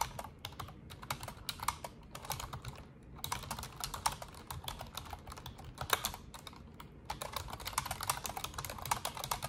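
Long orange nails and fingertips type continuously on an Asus desktop plastic computer keyboard with black plastic keycaps and a silver frame. A steady stream of quick, crisp clicking taps with bright tops is heard over a low rumbling bed, with brief lulls between bursts of typing.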